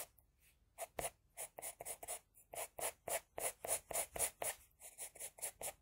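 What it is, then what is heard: Pencil strokes on drawing paper. An HB pencil scratches across a flat sheet of drawing paper in 19 quick, repeated strokes while drawing hair. Each stroke is a short, dry, bright scratch with a hissy high edge, coming at an uneven rhythm and growing louder toward the middle before easing off.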